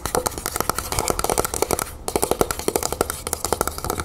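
A Vaseline Spray & Go aerosol lotion can, a hollow metal cylinder with a printed surface standing upright, is tapped and scratched fast with the long nails of both hands. Quick, dry, clicky taps with a faint metallic ring around 440 Hz run in a dense stream, with scratchy rustle between them and a brief pause near the middle.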